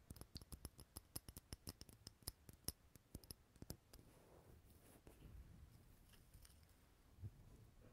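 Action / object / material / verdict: tap / glass jar candle filled with wax / glass / none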